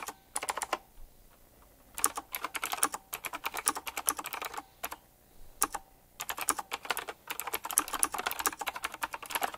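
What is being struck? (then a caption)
Mechanical keyboard with round plastic keycaps and metal rims. Fingertips type quickly on a retro typewriter-style mechanical keyboard with round plastic keycaps and chrome metal rims. Bright, crisp clacks come in rapid bursts separated by short pauses. Each keystroke is dry and stops almost at once.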